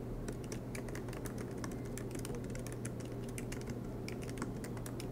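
Fingertips tap quickly across the black plastic keys of an aluminum MacBook Pro laptop, producing a steady stream of light, bright clicks. A constant low hum runs underneath the typing throughout.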